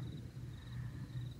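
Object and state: Nothing is struck.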